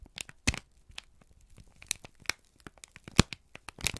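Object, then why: Thin kraft paper sheet. A single thin, crumpled sheet of brown kraft paper is held in both hands and squeezed and crinkled with the fingertips and thumbs. The sound is a quick series of dry, crackling crinkles and sharp snaps spread across the full range from low to bright. The louder pops stand out near the start, middle and end against softer rustling.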